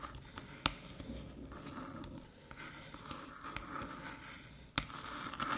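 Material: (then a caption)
Aluminium. Long metallic nails tap the top of a small, flat, hollow aluminium USB-C hub resting on a dark table and scratch near its ports. Soft, continuous scratching and light pattering with a faint ring around 1.3 kHz is broken by two sharp, bright taps. A closing burst of scraping grows slightly louder.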